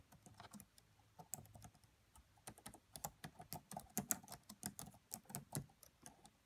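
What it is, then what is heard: Plastic laptop keyboard being typed on. Fingertips and long nails type and tap on the black plastic keys of a red laptop keyboard. Quiet, quick, clicky keystrokes come in irregular bursts, each a short bright tap with a soft low thud and almost no ring.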